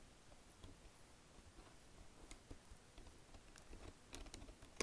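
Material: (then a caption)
Plastic. Long nails and fingertips tap the keys of a black plastic Logitech wireless keyboard with a built-in touchpad, and tap and scratch across the touchpad surface. The result is quiet, scattered, bright plastic clicks that die away almost instantly over a soft low background hiss, growing a little denser and louder toward the end.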